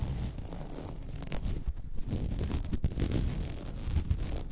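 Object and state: Woven vinyl placemat.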